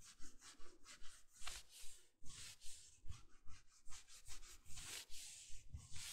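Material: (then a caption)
Fleece. Fingertips and nails scratch the raised sleeve of a navy, soft plush fleece bathrobe while it is being worn. The result is a quiet, steady run of brushy scratching strokes, each a bright airy hiss over a soft low thump, repeating at an even, brisk pace.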